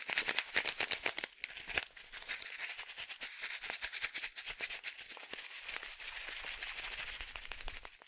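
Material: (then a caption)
Plastic. A small plastic fish-food pouch, partly filled with dry pellets, is held in one hand and shaken quickly. It makes a bright, crisp rattle of rapid pellet clicks and plastic crinkle, mostly high-pitched with almost no low end. Sharp, loud bursts in the first second and a half give way to a softer, steadier, denser rattle.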